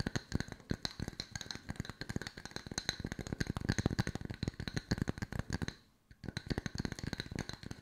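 Long white nails tap quickly over two solid round wood slice coasters at varied angles, making a dense stream of short, dry clicks and knocks. Each tap has a low, hollow thud under a bright tick and dies away at once. The tapping stops briefly near the six-second mark, then resumes.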